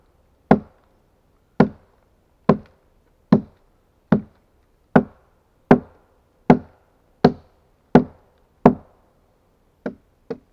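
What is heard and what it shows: A steel axe hews and chops the flat hewn face of a solid pine log resting on a stack. Thirteen sharp, woody thuds land at a steady working pace, each with a low-mid body and a very short decay. The last two blows are lighter.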